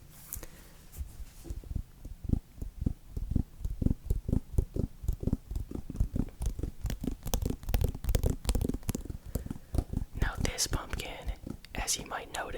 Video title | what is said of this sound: ASMR - Pumpkin Sounds / Whispering Interesting Facts About Pumpkins | sounds a bit different slightly more Hollow like a deeper